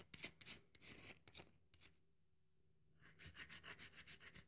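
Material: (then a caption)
Soap. A solid, dry bar of soap held in both hands has its surface rubbed and scratched with long nails, leaving crumbs on the table. Quiet, bright, raspy scratches come in quick uneven bursts, fall silent for about a second in the middle, then pick up again in a steadier rhythm.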